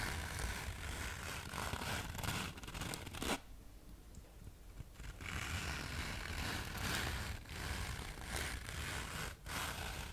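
Long manicured nails scratch across the abrasive face of a thin, palm-sized black fine-grit sandpaper sheet held upright. The result is a dense, gritty rasping that runs broad from low to bright tones, drops to a quieter lull around the middle of the clip, then picks back up in irregular strokes.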